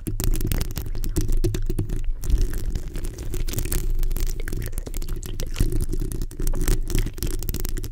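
Long acrylic nails on both hands scratch and tap the hollow round metal mesh grille of a black USB microphone. The result is a dense, continuous stream of rapid scratches and taps with a heavy, boomy low end and little brightness.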